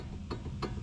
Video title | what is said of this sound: 2009 Ford Fusion Tie Rod Replacement #howto #diy #cute #automobile #shortvideos | you can hear how loose that ball joint is though